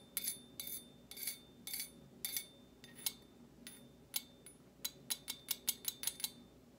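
A table knife with a dark handle and metal blade taps and scrapes against the bowl of a large hollow-bowled stainless steel slotted serving spoon held upright. Bright, thin metallic clinks and short scraping bursts come at irregular intervals, then a quicker, evenly spaced run of taps near the end. Each hit dies away almost at once, with very little low-end body.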